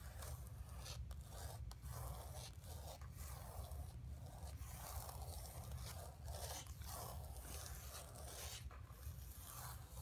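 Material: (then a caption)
Canvas. Long nails scratch across the surface of a flat painted canvas board lying on carpet. Repeated dry, raspy scraping strokes come in quick succession over a steady low rumble, with brief brighter bursts as the nails drag. The sound stays quiet and fairly even throughout.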